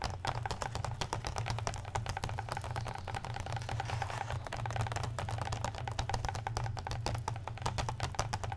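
Fingertips and medium-length nails on tattooed hands tap and scratch rapidly across the marbled blue, red and black paper endpapers of an open hardcover comic book lying flat. The result is a dense stream of short, dry, bright clicks and scratchy rustles over a steady low hum.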